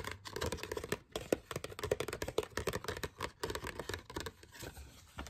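A small, thin, folded glossy printed paper card with a forest picture is held in both hands and scratched and rubbed with long fingernails. Many quick, crisp scratches and crinkles come in dense uneven bursts with short pauses, sharp and dry with almost no ring.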